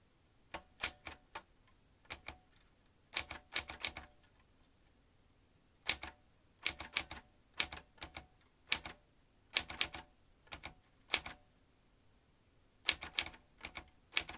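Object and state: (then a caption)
Manual typewriter keystrokes. Fingertips tap the keys of a vintage metal manual typewriter while its carriage moves, producing about thirty sharp, bright clacks in irregular bursts separated by short pauses. Each strike is dry and dies away almost instantly, with hardly any low end against a quiet background.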